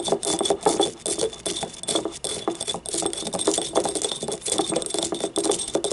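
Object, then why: Small glazed ceramic ramekin. Long painted nails tap and scratch the ribbed outer wall of a small, hollow, yellow glazed ceramic ribbed ramekin paint cup standing upright on a wooden table. The result is a quick, continuous stream of light clicky taps, each with a short ringing tone around 440 Hz, mixed with bright, raspy scratching across the ribs.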